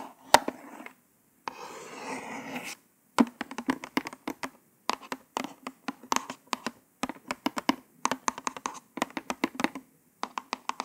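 Long pointed nails tap rapidly on a small white cardboard false nail package card. After a single sharp tap and a short stretch of soft scratching, dozens of quick, dry, clicky taps follow in uneven bursts. Each tap dies away almost instantly, with a papery midrange tone near 920 Hz and almost no low end.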